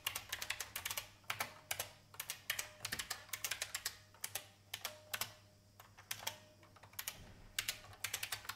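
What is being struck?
Plastic mechanical keyboard.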